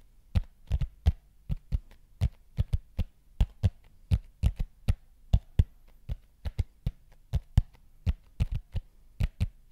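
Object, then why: Thin plastic disc or plate. Fingertips tap and scratch the surface of a large, thin, hollow-curved neon green plastic plate or frisbee held over the microphone. About thirty short, deep, hollow thumps land in an uneven rhythm, each with a faint bright click on top, over a low steady hum.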